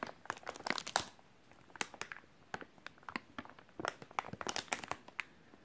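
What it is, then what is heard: Soft plastic wet wipes pack. A hand-sized white soft plastic wet wipes package, full of wipes, is squeezed and crinkled with the fingertips. The result is bright, dry crinkling and crackling with very little low end: a dense burst at the start, a brief quiet gap, then scattered crinkles that build into another busy cluster before thinning out.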